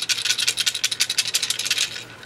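A new .22 rifle magazine, the second of two, is shaken by hand and gives off a fast, bright metallic rattle of loose internals, about seventeen quick clicks packed into two seconds. It sounds broken right out of the packaging, a sign of poor quality compared with an Eagle 30-round magazine that doesn't rattle.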